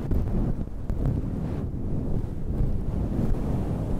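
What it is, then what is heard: Synthetic fur microphone windscreen being scratched. Long red nails scratch and rub a dark grey faux-fur windscreen over a microphone. The result is a steady, deep, muffled rumbling rustle, almost entirely low-pitched with no brightness, like wind buffeting the mic.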